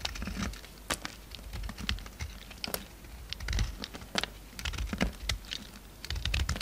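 A pink solid bar of soap is shaved with a utility knife blade, and chunks and curls break off as it is cut and scraped. Quick, dry crackling scrapes and small snaps come in uneven bursts over a low background rumble, with bright clicky edges much like keyboard typing.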